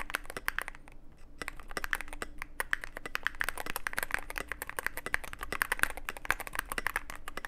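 Fingertips of both hands type continuously on a Cyberboard mechanical keyboard with plastic keycaps and a dark case. Rapid, uneven keystrokes give short, crisp clacks with a bright top and almost no ring, over a faint steady low hum.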